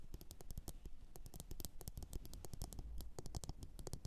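Long orange nails rapidly tap and scratch a glossy blue ceramic bowl sitting upside down and hollow. The result is a dense stream of quick, dry clicks with bright ticking tops and a soft low thump beneath, each dying away almost instantly with no ringing.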